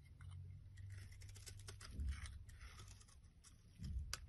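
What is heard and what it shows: A solid oval green bar of soap, held in hand, is shaved into long curls with a metal blade. Each pass gives a soft, crisp scraping crunch over a low steady rumble, with the scrapes coming unevenly. Louder passes near the middle and the end bring brighter rasping.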